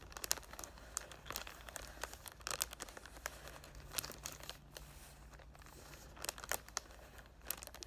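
Fingertips with short dark nails rub and crinkle the clear cellophane wrap on a cardboard "Thank U Next" perfume box held in both hands, fingers spread over the front. Bright, crisp crackles come in uneven bursts over a faint, steady low hum, with a quieter stretch of soft rustling in the middle.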